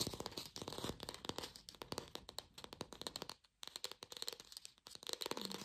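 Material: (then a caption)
Plastic. Long pink fingernails fast-tap a glossy red artificial apple with a stem, likely hollow plastic. The result is a rapid stream of short, bright clicks and light scratchy ticks with very little ring. A brief pause comes about halfway through.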